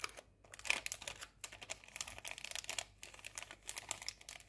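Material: Metal foil.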